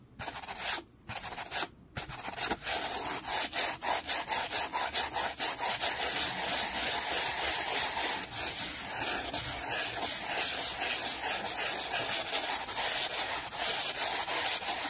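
A small, flat, solid wooden board about the size of a book, hardboard-like and resting on a towel, is brushed fast with a hand-held black-bristled brush. Quick, bright, scratchy rubbing strokes follow one another after a couple of brief pauses at the start, then merge into a steady, hissy scrubbing that carries on to the end.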